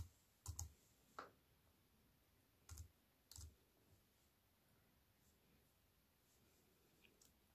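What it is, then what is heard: Plastic-key keyboard typing. Fingertips with white-painted nails press the black plastic keys of a slim, compact wireless keyboard in a grey metal-look frame lying on a wooden table. Slow, unevenly spaced taps sound as soft, dull low thuds with a short, bright click on top, each dying away almost at once. Long quiet gaps fall between them.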